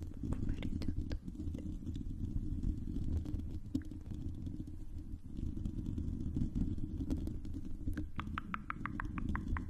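Long pink acrylic nails on both hands scratch and tap the hollow silver metal mesh grille of a condenser microphone. A dense, boomy low rumble of scratching is dotted with sharp clicks, and near the end a quick run of brighter, ringing taps follows.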